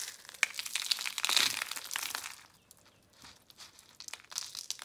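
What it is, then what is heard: Dry, brittle soap curls. Dry, brittle red, orange and pink soap curl flakes are crumbled and crushed between the fingertips and palms of both hands, then dropped back onto the pile. Dense, bright, high crackling crunches fill the first two and a half seconds, fade to near quiet, then sharper scattered crackles return toward the end.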